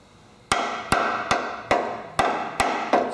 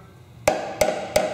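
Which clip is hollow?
The second.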